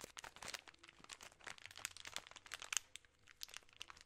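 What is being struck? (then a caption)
Plastic film bag of chocolate candies. A full peanut M&M's bag of plastic film is crinkled and scratched with long nails. Quiet, bright crackling and crinkling comes in a dense run of short, sharp bursts with almost no low end and no ring after each.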